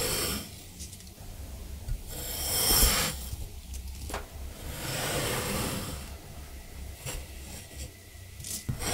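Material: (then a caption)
Sand. A metal scraper with a black handle is drawn across the top of a large, solid rectangular block of blue kinetic sand, held by fingers on a white surface, scraping off layers of sand. Soft, gritty rasping strokes with a bright hiss swell and fade over a low background rumble.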